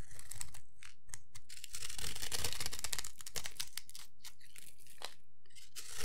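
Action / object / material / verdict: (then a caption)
scrape / bar of soap cut with a metal blade / soap / none. A metal blade scrapes and shaves along the surface of a solid rectangular bar of dry white soap held in the hand, cutting it into cubes and producing crumbly flakes. Rapid, irregular dry scraping strokes give crisp, bright crunching and crackling bursts with a faint low rumble underneath.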